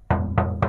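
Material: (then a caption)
Steel. Three low, solid knocks sound on the steel cargo bed of a 2019 Mitsubishi Canter PS 125 HD truck, each a deep thud with a brief ring that fades quickly. The thick plate sounds sound and solid, with no corroded or rusted-through spots.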